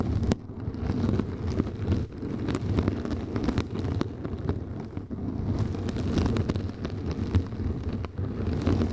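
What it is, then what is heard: Mesh scrub sponge. A round yellow kitchen sponge with a soft, flexible synthetic mesh surface, draped over the top of a microphone, is scratched with long nails on both sides. The sound is a dense, continuous low rumble of scraping, with sharp clicks and crackles scattered throughout.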